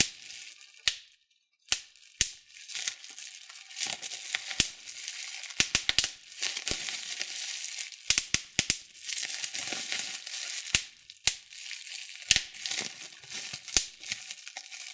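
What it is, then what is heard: Plastic bubble wrap being popped. Clear plastic bubble wrap is pinched, crinkled and popped by fingertips and thumbs. A steady bright crinkling rustle is broken by many sharp, dry pops that die away almost instantly, with little low-end weight.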